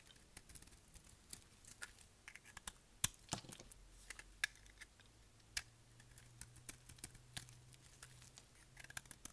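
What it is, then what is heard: Dry soap bar being shaved. A solid, dry, dark grey bar of soap is held in the hand and shaved with a utility knife blade, peeling off curled shavings. Quiet, crisp, bright scraping ticks come in quick irregular bursts with very short decay, over a faint low hum.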